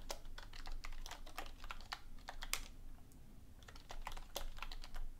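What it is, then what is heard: Plastic computer keyboard being typed on. Both hands type on a black full-size plastic computer keyboard resting on a desk beside an untouched book, using long painted nails and fingertips. Quick, bright, clicky taps fall in an irregular stream, each one short and dry. The typing eases briefly near the middle before picking up again over a low, steady rumble.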